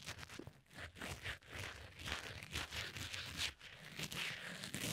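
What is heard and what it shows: A sharpened red wooden pencil tip, held in the fingertips, scratches and pokes at the small, soft, porous black foam windscreen covering a tiny lavalier microphone's hollow capsule. Close, dense, bright scratchy crunching and crinkling rustles come in uneven bursts, with low muffled thumps underneath as the foam is pressed right against the mic.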